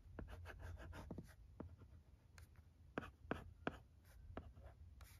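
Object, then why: Plastic LCD writing tablet and stylus. A stylus tip scratches and taps the screen of a thin plastic LCD writing tablet while writing letters. Quick, irregular scratchy strokes and short, sharp clicks of the tip land against a soft, low background rumble. A few taps stand out louder in the second half.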